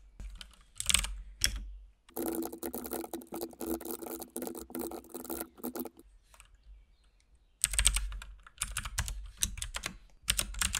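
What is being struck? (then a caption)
Mechanical keyboard with plastic keycaps. Fingertips of both hands type continuously on a compact RGB-backlit mechanical keyboard with plastic keycaps and a hollow case. Bursts of rapid, clacky key presses have bright clicks over a low, hollow thud, separated by short quiet pauses.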